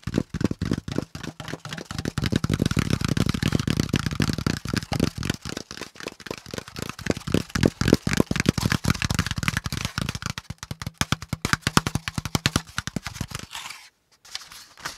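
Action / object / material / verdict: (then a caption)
tap / corrugated cardboard packaging insert / cardboard / none. A hand-sized brown corrugated cardboard packaging insert, with a flat top panel and pleated hollow compartments underneath, is held in both hands and tapped quickly with the fingertips. The result is a fast, uneven stream of short, dry, hollow taps with a low papery thump. The taps stop briefly near the end before resuming.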